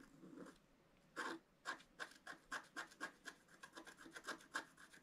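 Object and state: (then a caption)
Wax-coated scratch art paper being scratched. A thin wooden stylus scratches a flat black wax-coated scratch art sheet in a book, first at the bottom of the sheet and then in the center. A soft, low rubbing opens the clip, followed by a quick, uneven run of short, dry, bright scratching strokes with a raspy edge. Each stroke stops almost at once, with no ring.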